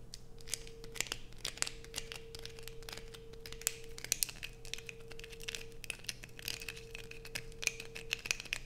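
Long nails scrape a solid blue bar of soap with a grooved edge, held in the hands, sending shavings falling. Dense, crisp, bright scratching clicks come in quick irregular bursts over a faint steady hum and a thin mid-pitched tone.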